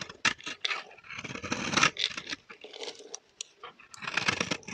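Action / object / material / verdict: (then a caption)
scrape / bar of soap scraped by a metal blade / soap / none. A metal blade scrapes across the surface of a solid, dry pink bar of soap held in the hand, shaving off crunchy flakes. Short, bright, crackly scraping strokes come in uneven bursts, with a few longer rasping passes and little low end.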